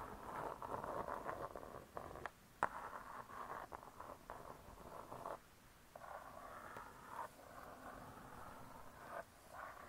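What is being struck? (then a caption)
Spiral-bound book with cardboard covers. Long nails tap and scratch the cardboard cover of a spiral-bound hardcover cookbook. Soft, steady scratching in the midrange is broken by a few sharp, quick taps and brief quiet pauses. The sound stays quiet and dry, with almost no ring.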